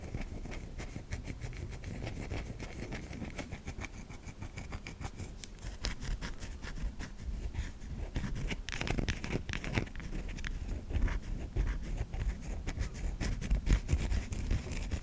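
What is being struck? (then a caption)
Solid soap bar. Long nails scratch grooves into the top of a white solid bar of soap cupped in a palm. The result is a dense, irregular stream of dry scraping and scratching strokes over a low rumble, growing slightly louder toward the end.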